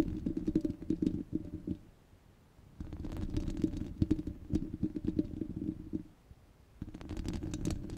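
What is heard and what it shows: Long red glitter nails scratch across a rounded, hollow steel wire-mesh microphone grille with both hands. The result is a dense, low, rumbling scrape with crackly ticks, heard in three stretches separated by two brief near-silent pauses.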